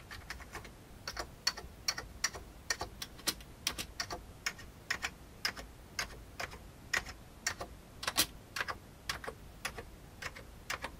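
Fingertips type on the right side of an old beige full-size plastic keyboard with hollow keycaps. About 34 short, bright key taps click at an uneven typing pace, each dying away almost instantly over a faint low background.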